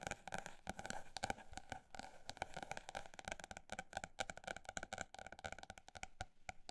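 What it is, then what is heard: Paper notebook tapped. A paper notebook is tapped quickly, in a dense run of short, dry taps with a midrange ring around 785 Hz, faint high crispness and almost no decay. The tapping stays quiet throughout, its pace shifting between faster bursts and slightly slower stretches.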